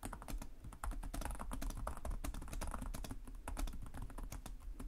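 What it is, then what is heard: Laptop keyboard being typed on. Fingertips of both hands type rapidly and continuously on a black laptop's low-profile plastic chiclet keys, set in a hollow device body. The result is a dense, steady stream of short, dry clicks and taps, each with a dull low thump beneath a brief bright tick, decaying almost instantly.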